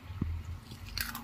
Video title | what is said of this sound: Jalebi Aur Fafda made by Mayuri #fafda_recipe #purneakevlogger #purneavlogs #jethalalkifavoritedish | ये कितना क्रिस्पी बना है आवाज से पता चलता है